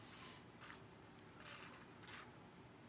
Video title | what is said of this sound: Midnight Sushi - Off Menu | sounds empty yeah that sounds emptier than my bladder